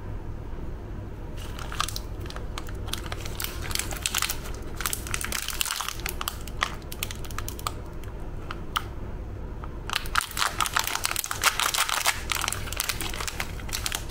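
A small sealed metallized-plastic Tiger Krunch cookie packet, full of cookies, first lies on a table and is then held, squeezed and crinkled by fingertips and thumbs. Dense, bright crinkling and crackling build up after a quieter start, with a steady low hum underneath. The handling grows busier and louder in the last few seconds.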